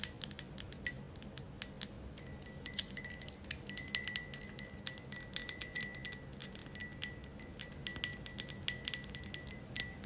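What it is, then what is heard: Glass ashtray. Long nails tap rapidly on the sides of a thick green glass ashtray held close, making many short, bright, clicking taps with brief glassy ringing. A faint, steady high tone sits under the taps alongside a low background hum.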